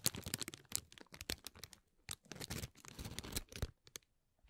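Fingertips and nails press, rub and scratch the folded cells of a hollow green tissue-paper honeycomb ball. The result is quiet, dense bursts of dry crinkling and crunching, bright and papery with a soft low thud beneath, separated by brief pauses.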